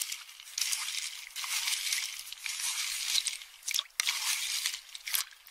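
A metal spoon stirs and crushes empty pistachio shells in a small, hand-held round metal bowl about half full, giving a steady run of dry crunching and scraping. The sound is bright and brittle with almost no low end, with short sharp clinks and brief dips between strokes.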